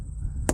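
A rubber-ended 8-ounce mallet thumps an underinflated truck tire at about 15–20 PSI, giving a single short, dull thud over a steady low hum. The hit is soft and deadened with almost no ring, noticeably different from a full tire and marking this one as flat.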